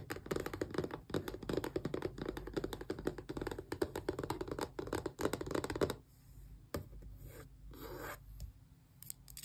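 A long press-on nail rapidly taps and scratches the printed front face of a small, closed, hollow cardboard Xbox controller box, making a dense, dry scratching for about six seconds. The sound then drops to a quieter hush broken by a few sparse taps and light scrapes.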